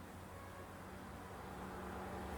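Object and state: Nothing is struck.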